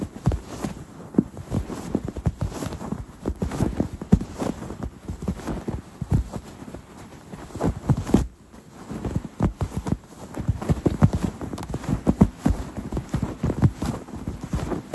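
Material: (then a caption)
Fabric. Fingernails scratch across a soft, stuffed quilted cloth throw pillow with leaf patches, giving a steady run of short, dull, low-heavy scrapes and taps. A brief near-silent gap falls about halfway through before the scratching resumes.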